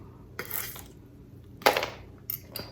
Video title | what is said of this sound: Dry Canning Potatoes and How to Use Them-- #everybitcountschallenge | You can hear how crispy they are.